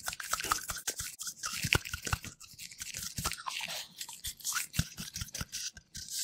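A large, bright green, hollow, hand-sized plastic toy nut threaded on a ribbed plastic bolt is turned, rubbed and tapped with fingertips in black latex gloves. It produces a rapid stream of crisp, bright plastic clicks and scratchy rubbing. The sound is mostly high-pitched, and each tap dies away almost instantly.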